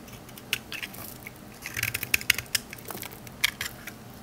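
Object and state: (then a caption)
Bar soap shaved with a knife. A rectangular solid green olive-oil soap bar held in the hand is shaved with a metal knife blade into crunchy curls. A run of quick, dry, bright crackles and scrapes is heard, loudest in the middle and near the end, each one stopping almost instantly.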